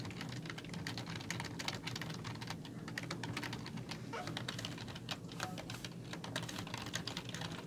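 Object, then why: Plastic computer keyboard. Fingertips with long nails type steadily on a black plastic computer keyboard with hollow keys, producing a fast, continuous stream of short, bright clicks and taps. A steady low hum sits underneath the quiet, even typing throughout.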